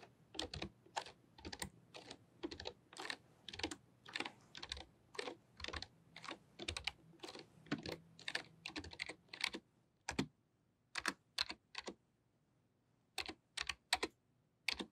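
Fast typing with long painted nails and fingertips on a full-size pink-white plastic membrane computer keyboard with low flat keys. The steady run of short, dry, bright clicking taps thins into a few scattered keystrokes near the end.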